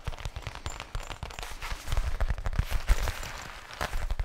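Fingertips tap quickly on the front face of a flat, black faux leather zippered case held against the chest just below the microphone. The result is a rapid, uneven patter of soft, dull thumps, heavy in the lows, with a faint papery crackle and almost no ring after each tap.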